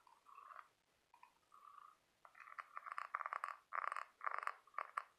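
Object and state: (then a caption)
Scallop seashell. Fingertips and short nails scratch and tap along the ribs of a large white ribbed scallop shell made of calcium carbonate, its hollow half-shell held in one hand. Faint, soft scraping strokes at first give way to louder, quick bursts of dry rasping with a hollow, nasal tone around 1.1 kHz and bright edges.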